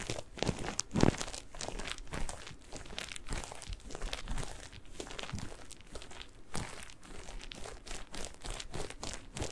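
A single rectangular kitchen sponge, with yellow cellulose layers and a green scouring layer, soft and porous, is squeezed, crinkled and scratched with fingertips and nails close to the mic. The result is a dense, continuous run of crinkly crackles and scratchy rustles, with a louder squelching squeeze about a second in and sharp scraping bursts throughout.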